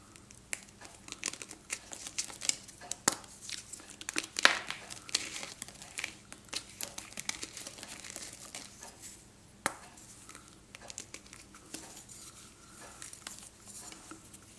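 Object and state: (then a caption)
Pressed gym chalk block being crumbled. Fingertips and short nails squeeze, rub and crumble a small solid block of reformed, pressed pink-white gym chalk (magnesium carbonate) held over a pink bowl of chalk powder, and powder falls from it. Dry, bright crinkling and gritty crumbling run throughout, with sharp louder cracks standing out near 3, 4.5 and 9.7 seconds and softer crackles trailing off toward the end.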